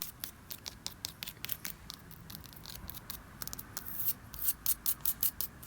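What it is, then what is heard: Plastic fencing. White plastic fencing, put up between a pool and the rest of a yard to keep kids out, is tapped and scratched in quick succession. The light, bright clicks and scratchy scrapes are mostly high-pitched, growing louder and more distinct toward the end.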